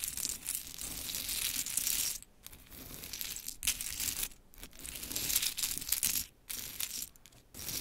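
Long chrome nails scratch and tap through a scattered pile of pink wooden mini clothespins. The result is a dense stream of bright, crisp clicks and dry rustling, broken by a few brief quiet pauses.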